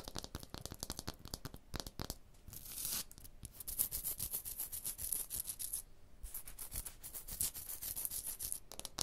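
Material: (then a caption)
Stone. Long blue nails tap and scratch a rough, porous textured stone block wall. Rapid dry clicks mix with gritty, bright scraping bursts, each sound dying away almost at once.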